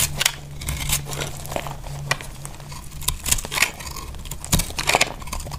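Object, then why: Soap bar cut with a small knife. A small knife cuts crunchy pieces off a solid, dry orange soap bar held in the hand. It makes a series of short, bright, crisp crunches and scrapes, with quieter crackling between cuts over a steady low hum.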